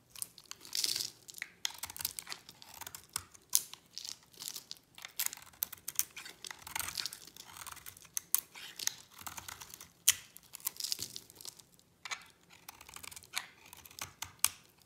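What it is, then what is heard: Dry bar soap being shaved. A hand-sized solid pink bar of dry soap with a yellow coating, held in the hand, is shaved by scraping with a utility knife blade, sending curls falling off. The result is a long run of quiet, dry, crisp scraping and crackling strokes with a crumbly, tearing texture. It sounds bright and hissy, with almost no low end, and each stroke stops short without ringing.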